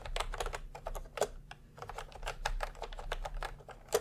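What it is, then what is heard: Plastic round-key keyboard being typed on. Steady fingertip typing by both hands on a plastic retro round-key Milk-Tea keyboard. It makes a quick, even run of short, crisp clacks that die away instantly over a low steady hum, with a couple of sharper, louder keystrokes standing out near the middle and at the end.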